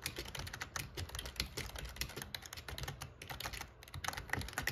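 Fingertips type quickly on the plastic keys of a backlit black plastic gaming keyboard. A steady, rapid stream of short, bright clicks and clacks sits over a soft low thump from each key bottoming out. Each keystroke dies away almost instantly.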